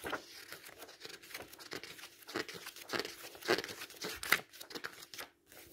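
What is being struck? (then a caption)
Paperback book with paper pages. A thick open paperback book with paper pages is fanned, squeezed and turned by hand while a palm rubs across the page. It makes a steady series of short, dry, crinkly rustles and papery swishes, bright and thin with almost no low end, ending in a brief quiet gap before a soft final rustle.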